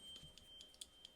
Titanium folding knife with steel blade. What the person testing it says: if you shake it, you can kind of hear that